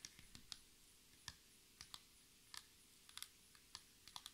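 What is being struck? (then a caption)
Laminated table top tapped with long nails. Long red nail tips tap rapidly on a solid black speckled laminate table top with both hands, in a typing-like pattern. The taps are quiet, sharp and bright clicks in an irregular series, each dying away at once with no ring.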